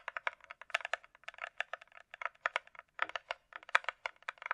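A closed, hollow hard-shell glasses case with a glossy coated shell, likely plastic, is tapped with long nails while being turned in the hand. About two dozen quick, clicky taps come in irregular bursts, centered around 1.3 kHz with bright high ticks. Each tap dies away almost instantly, with no low-end body.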